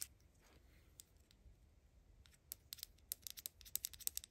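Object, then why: Small plastic toiletry bottle. A small, hollow, dark blue plastic toiletry bottle, a mini brand replica held in the hand, is tapped and scratched with long acrylic nails. Quiet, soft scratching gives way to sharp, bright clicks and taps that come faster and louder toward the end.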